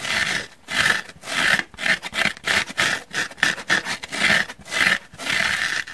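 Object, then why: Foam sponge. Short nails scratch rapidly across the surface of a solid, pink, dry porous foam sponge held in the hands. Quick bursts of dry, rasping scratches come in an uneven rhythm, bright and hissy with a strong band near 2 kHz and almost no low end. Each burst stops dead in brief gaps.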